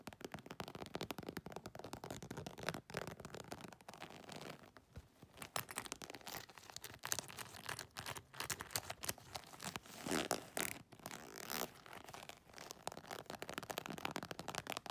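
Long nails rapidly scratch and tap the croc/scale-embossed surface of a small, soft-sided, iridescent holographic faux leather makeup bag with a metal zipper. The result is a dense, continuous stream of quiet, bright, crinkly scratches broken by quick dry taps, with brief lulls and no ringing.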